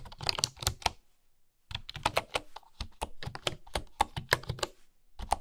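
Fingertips with nails type on a bamboo keyboard with flat wooden keys, producing rapid, dry, bright clicks that stop almost instantly. There is a brief pause after the first second before the typing resumes in an uneven, steady stream to the end.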